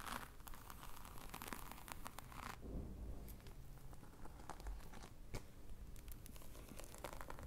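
Long manicured nails scratch across the textured surface of a medium black rectangular case with croc-embossed faux leather, which looks hollow and is held up close to the microphone. The result is a dense, continuous run of crinkly, tearing-like scratches with quick bright ticks over a steady low rumble.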